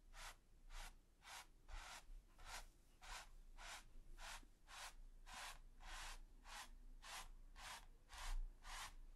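A wide, flat natural-bristle brush with a gold ferrule and teal handle, held in the fingers, is swept and scratched across a flat, taut, smooth white primed canvas. The result is a steady run of soft, dry, bright scratching strokes in an even rhythm, with a low rumble underneath.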